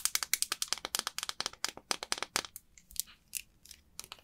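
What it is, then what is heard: Bar of soap. Long white acrylic nails rapidly tap and scratch across a small, solid, rectangular green bar of soap, dry and unwrapped, as a hand holds and grips it in the palm over an empty glass bowl. A quick run of sharp, bright, dry clicks and crackles comes first. It thins into sparser, softer scratches and taps toward the end.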